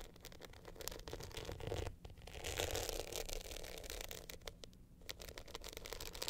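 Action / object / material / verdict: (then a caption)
scrape / glitter-coated hard-shell clutch with metal frame / glitter, metal / none. Long nails scratch and tap an upright glitter hard-shell clutch, working over its glittery face and the gold metal top frame. The result is a dense, gritty scraping texture, bright and hissy, broken by quick, irregular sharp ticks and clicks, with a faint low rumble underneath.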